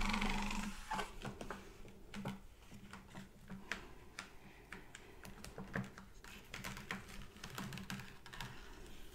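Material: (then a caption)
Paper. Long red-painted nails and fingertips tap and scratch the thin glossy pages of an open sports magazine lying flat on a wooden table, open to a shoe ad and contents page. Quick, irregular clicks and brief scratchy swipes ring out over a faint, steady low hum, after a louder rustle at the start.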